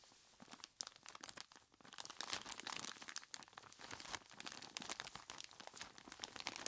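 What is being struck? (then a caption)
Plastic bag of ice cubes. A large clear plastic bag full of ice cubes is squeezed and scratched by hands in skeleton-claw gloves. Dense, bright crinkling and crunching crackle continuously with many quick overlapping bursts, quiet and dry.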